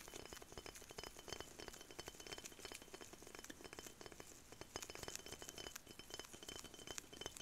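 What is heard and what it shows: Latex-gloved fingertips tap and scratch a small clear glass perfume bottle with a dark cap, partly filled with amber liquid and held in both hands. The result is a quiet, steady stream of rapid, bright clicks and clinks over a soft scratchy hiss, each tap dying away almost instantly.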